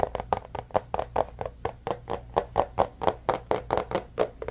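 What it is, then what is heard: Cardboard phone box. Fingertips and nails tap and rub the surface of a small, rigid white cardboard phone box with its lid on, hollow and empty inside. About twenty quick, uneven, hollow knocks come in a steady stream, each centered near 590 Hz and dying away almost at once. A faint scratchy rubbing fills the gaps between them.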